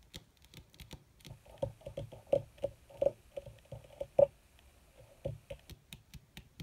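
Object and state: Leather surface tapped with fingernails.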